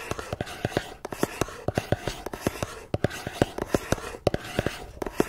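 Long nails tap and scratch the sides of a small, hollow, red and white patterned cardboard box resting on a tablet. Quick, dry taps with very little ring land in an uneven rhythm over a soft, continuous scratching rustle.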